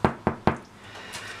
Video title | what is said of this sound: Le Pain Noir : Un Trésor Oublié pour la Santé et le Goût ! | Il sonne creux. C'est un magnifique pain.